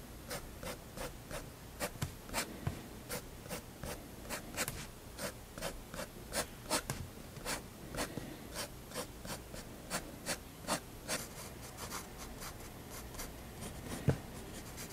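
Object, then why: Fineliner pen on paper sketchbook page. A fineliner pen tip hatches the lower area of a drawing on a spiral paper sketchbook page lying flat and solid on a desk. Quick, dry scratching strokes repeat in a steady rhythm, each a short bright rasp over a soft low background hum.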